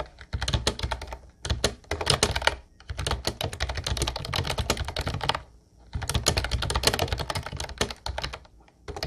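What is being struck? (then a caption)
Plastic keyboard with round keycaps. Both hands type with their fingertips on a light blue plastic Ubotie retro keyboard with round white keycaps. Fast runs of crisp, clacky keystrokes, each with a low thock and a bright plastic click, come in bursts separated by brief pauses. Each keystroke stops short with almost no ring.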